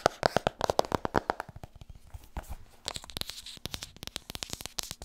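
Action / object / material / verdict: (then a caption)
tap / hardcover book / cardboard / none. Fingertips tap quickly on the hardcover book 'Vertrouw me, ik ben een verkoper', producing a rapid series of short, dry taps. The first taps carry a hollow mid-range knock, and later taps turn into brighter, crisper clicks that stop almost instantly.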